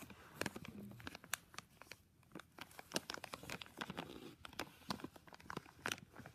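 Fingertips squeeze and crinkle a thin, full clear plastic bag holding a small black-and-white flexible tripod. A steady stream of dry, crackly crinkling is broken by many sharp, bright snaps that cut off instantly. The sound stays quiet and close throughout.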